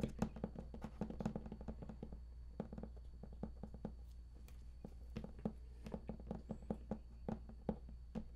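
Fingertips of both hands tap rapidly and irregularly on the raised lid panel of a large, hollow, printed cardboard collector's edition game box. The soft, dull taps have a hollow, boxy resonance around 220 Hz and die away almost at once, over a steady low hum.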